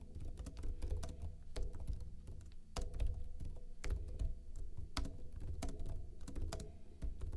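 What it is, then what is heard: Plastic laptop keyboard being typed on. Fingertips with short blue-painted nails type rapidly on a backlit plastic laptop keyboard with hollow keycaps. The result is a quick, uneven stream of short, dull key taps and clicks with a soft thudding body, over a steady low hum.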